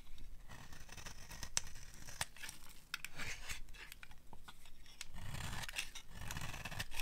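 A palm-sized solid bar of dry yellow soap is held in hand and scraped and shaved with a small metal blade, with the flakes falling onto a pile of shavings. Dry, crunchy scraping and crumbly tearing sounds repeat steadily throughout, with bright crisp edges over a soft low rustle.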